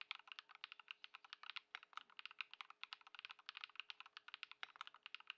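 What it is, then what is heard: Foam-dampened mechanical keyboard with plastic keycaps. Fast two-handed fingertip typing on a modded compact 65% Ducky One 2 SF mechanical keyboard with white plastic keycaps, a grey case and foam-dampened Lumia Matcha switches, resting on a wooden desk. A dense, steady stream of short, bright keystroke taps with no ringing tail.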